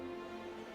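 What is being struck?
Nothing is struck.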